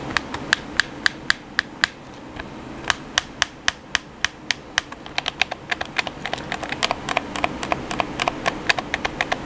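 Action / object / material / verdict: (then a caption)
tap / plastic game controller / plastic / none. Fingertips tap the buttons and body of a hollow black plastic PS4 controller. It makes dozens of sharp, dry, bright clicks that stop instantly, in an irregular rhythm over a faint hiss. The taps become quicker and denser toward the end.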